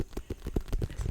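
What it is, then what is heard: Cinderella pumpkin. Tapping on a white and orange striped Cinderella pumpkin, starting with the bottom. About seven soft, low, hollow thumps come in quick succession, each dying away almost at once.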